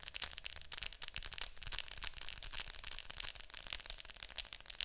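Long nails tap rapidly on the lid of a Fantasia VHS plastic clamshell case lying flat. The hollow plastic gives a dense stream of bright, crisp clicks with almost no ring, over a faint low rumble.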